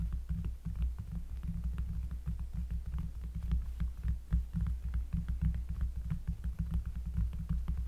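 A round, flat, solid cork trivet lying on a table is tapped with the fingertips of both hands. The result is a steady stream of soft, deep, bassy thumps that blur into a low throbbing hum, with faint clicky edges on some taps.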